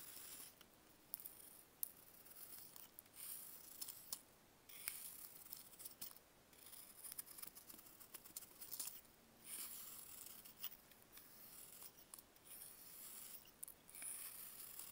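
A bare hand carves a solid block of dried baking soda with a box-cutter blade, and chunks break off and fall. It sounds like quiet, dry, bright scraping and crunching, with sharp clicks and brief pauses between strokes.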